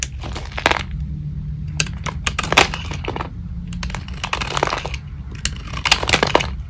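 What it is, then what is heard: Dry soap bar. A metal blade carves and shaves brittle flakes off a small, solid, dry soap bar held in the hand, its paint mostly removed so it is now white with a purple rim. Bursts of crunchy scraping and crumbling crackle brightly and briefly over a steady low hum. Shavings pile up on the table.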